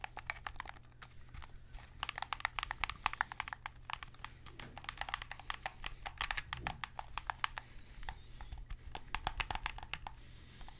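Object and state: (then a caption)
Plastic game controller. Fingertips tap and press the buttons and hollow plastic shell of a white PS5 DualSense controller as it is turned to show its front and back. The result is a fast, uneven run of dry, sharp clicks and taps that stop instantly with no ring, bright and crisp over a steady low hum.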